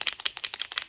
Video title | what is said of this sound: Marqueurs acrylique...je vous dit tout ce qu'il faut savoir pour débuter ;) | la petite bille voilà le petit tac tac tac qui va vous permettre de venir secouer l'encre donc pigmenté à base d'eau à l'intérieur